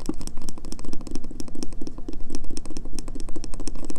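Painted nails tap rapidly on the scratched, embossed face of a solid, pale green bar of soap held up close. The result is a dense, steady stream of short, dry clicks with a muted low thud beneath and bright ticks on top, each stopping almost instantly.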